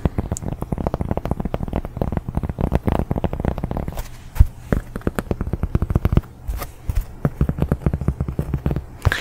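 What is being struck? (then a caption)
Cork coaster. A large round cork coaster is tapped rapidly with the fingers. The taps are soft, dull and low-pitched, with almost no ring and no high-frequency brightness. They come in quick flurries with brief pauses.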